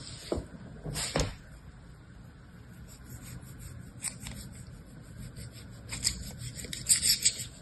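A metal blade or spatula scrapes and cuts across pink kinetic sand packed solid into a small hand-held orange square plastic mold. Soft, gritty, bright rasping strokes come in short bursts over a low hiss, with sharper scrapes near the start and louder cutting strokes toward the end.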